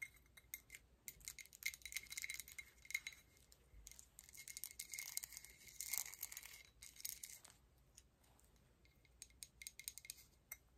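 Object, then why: Metal medallion pendant on a chain. A large, solid gold-tone metal coin-style medallion pendant on a chain is held up and tapped and scratched on its face and edge with long acrylic nails. Quick, quiet, bright clicks and dry scratching rustles come in dense bursts, with a faint high tick that dies away almost instantly and hardly any low end.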